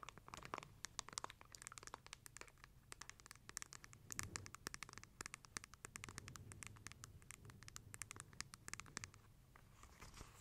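Long nails tap and scratch the light wooden cover of a closed, palm-sized book-shaped lamp held near a fluffy microphone. Many quick, dry clicks and raspy scratches, bright and crisp with almost no ring, patter on steadily over a low, soft hum.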